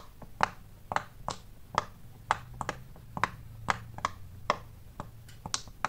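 A large, square, rainbow-striped silicone pop-it fidget toy with many small hollow bubbles is pressed by fingers and knuckles along its red and yellow rows. Sixteen short, dry pops at an irregular pace each snap with a woody tone around 875 Hz and a bright click that dies almost instantly, over a faint low hum.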